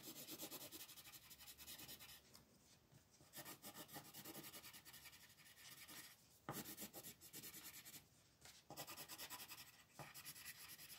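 An orange wooden colored pencil is rubbed and scratched across a flat, thin printed paper coloring book page lying on a table, in short back-and-forth shading strokes. The result is a quiet, dry, bright rasping scratch that pulses with each stroke. It pauses briefly a few times before resuming.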